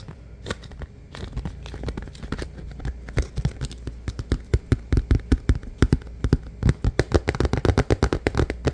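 Fingertips and nails tap and scratch the sides and rim of a large, transparent, hollow and empty plastic food container. Soft scratching and scattered clicks give way to a rapid, quickening run of sharp, dry taps, each with a low, hollow body and a very short ring.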